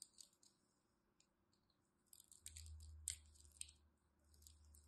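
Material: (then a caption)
Soap. A small craft knife scores a grid into a solid pink and white striped bar of dry soap held in the hand and cuts out small cubes. Quiet, bright, crisp clicks and crunchy scrapes come in irregular bursts, and a low rumble rises underneath in the middle of the clip.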